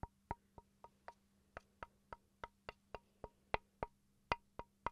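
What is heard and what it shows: A small solid wooden chopping board, held up near the microphone, is tapped with fingertips and then with a wooden pencil. The result is a series of short, dry, hollow knocks around 950 Hz, spaced at uneven intervals and dying away almost instantly. A faint steady low hum sits underneath.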